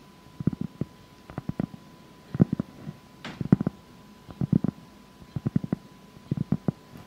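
Long acrylic nails scratch a solid, flat sheet of granulated cork board up close. The result is irregular clusters of short, dry, low-pitched scratching bursts with almost no ring, plus one brief brighter hiss partway through.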